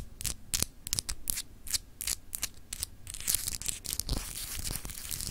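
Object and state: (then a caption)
Etched glass globe paperweight. Long acrylic nails scratch fast across a small solid clear glass globe paperweight with etched continents. Quick bright, raspy strokes come in short separate bursts, then run together into a denser, almost continuous scratching toward the end.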